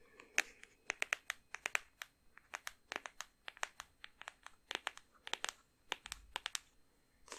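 Long painted nails tap and scratch a small, solid, blue padded faux-leather hardback memory book. The result is a rapid series of sharp, dry clicks with brief scratchy rasps, bright and crisp with almost no low end and no ring.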